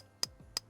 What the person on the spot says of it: it sounds like plastic